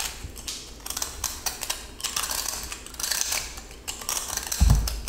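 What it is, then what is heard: Pressed salt block scraped with a blade. A yellow utility knife blade repeatedly scrapes and cuts the crumbly surface of a small, solid, glitter-coated pressed salt cylinder held in hand. The result is a steady run of dry, bright, gritty scratching and crunching strokes in quick bursts, with a brief low thump near the end.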